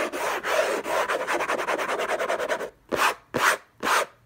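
Fingertips and short nails scratch the lid of a closed, long rectangular orange Hermès cardboard box covered in textured paper, lying on a fluffy blanket. A fast, uneven run of short, dry rasping scratches gives way to three slower, separate strokes with brief silences between them. The sound is a papery mid-range rub with a bright, hissy top.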